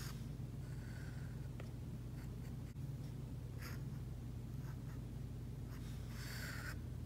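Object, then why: Plastic stylus tip on a tablet screen with matte plastic film. The plastic tip of an Apple Pencil, held in a hand with long painted nails, scratches and taps across a flat iPad screen covered by a Paperlike matte plastic film over the glass while drawing lines. Soft, bright scratchy strokes come in short, uneven bursts over a steady low hum.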